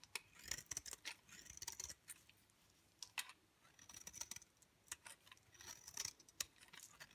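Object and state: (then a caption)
Dry bar soap being shaved. A utility knife blade shaves long thin curls off the face of a dry, pale green bar of soap held in the fingers. Quiet, bright scraping and crisp clicking strokes come in quick bursts with short pauses between them, with almost no low end.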